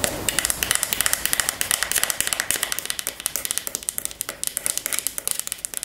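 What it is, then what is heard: Wooden paddle hairbrush. Long nails scratch and flick across the wooden pin bristles of a wooden paddle hairbrush, making a rapid run of sharp, bright clicks over a soft, hissing scratch. Each flick is short and dry, with almost no low end, and the ticking continues steadily throughout.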